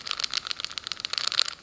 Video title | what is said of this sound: YJ MoYu 4x4 Cube review | you can kind of hear the sound there's not much now on the cube very very little